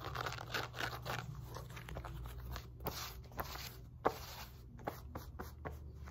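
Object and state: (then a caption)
Woven fabric resistance band being scratched. Long nails and fingertips scratch and rub a wide woven elastic fabric glute resistance band lying flipped over on a lap. The result is quick, dry, crunchy scratching with a few sharper ticks over a steady low hum.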